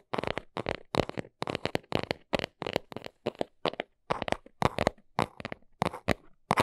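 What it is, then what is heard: Small cardboard box. Long nails tap and scratch fast on the front face of a small brown cardboard box held close. Quick bursts of dry, scratchy taps repeat in steady clusters, each with a papery midrange body around 600 Hz and almost no ring.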